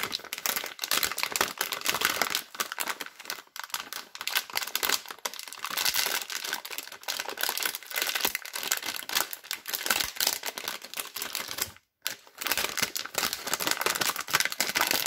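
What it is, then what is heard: Plastic film wrapper being crinkled and torn. Fingertips with long red nails grip, twist and crinkle a yellow and blue glossy plastic film multipack wrapper with soap bars inside, then start tearing the film. The result is a dense, continuous, bright crackling and crinkling with almost no low end, broken by one brief silent gap near the end before the rustling resumes.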